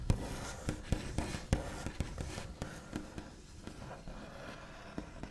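The backs of long nails tap rapidly and irregularly on a flat, solid, white-finished wooden tabletop, with scratchy tracing between the taps. The quiet, dull knocks are mostly low in pitch and die away almost instantly, over a soft continuous scratching hiss.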